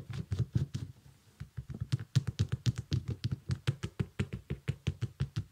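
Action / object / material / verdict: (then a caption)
tap / small synthetic leather sneaker / synthetic leather / none. Fingertips and nails tap and scratch the upper and sole of a small, shiny, iridescent synthetic leather sneaker. About 29 short, dull, low thumps centred near 125 Hz come in a steady, quick rhythm, each dying away almost instantly, with faint bright scratchy ticks on top and a brief lull near the first second.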